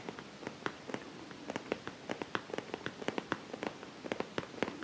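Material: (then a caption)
Vinyl. A medium-sized, soft-sided zippered makeup pouch of iridescent holographic vinyl with black polka dots, hollow and seemingly padded, is held in both hands while fingertips and nails scratch and squeeze it. The result is a quiet, steady run of about 22 short, sharp crinkly crackles over a soft rustling bed, each snap dying away almost instantly.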